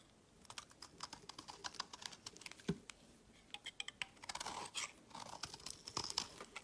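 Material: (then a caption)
Soap. A utility knife blade scrapes a solid, hand-sized, white rectangular embossed soap bar, shaving off fluffy flakes. Quiet, dry, crisp scratching ticks come in quick succession with a bright, high-pitched edge and almost no low end. A brief lull comes near the middle, followed by a denser run of scraping.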